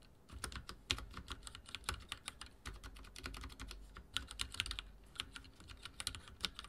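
Rapid typing with the fingertips of both hands on a full-size backlit mechanical keyboard with dark plastic keycaps and linear switches, resting on a wooden desk. A steady stream of short, bright clacking keystrokes comes with soft low thuds underneath, each press dying away almost instantly.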